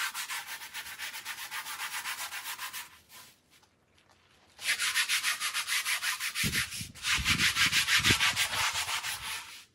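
A light-blue handheld scrub brush rubs in sweeping strokes across a small fringed Persian woven pile rug of wool-type textile, covered in soap foam on the floor. Rapid, rhythmic, bright scratchy scrubbing runs in a steady burst, pauses briefly around three to four and a half seconds, then resumes louder. In the second half, low dull thumps sound under the scrubbing.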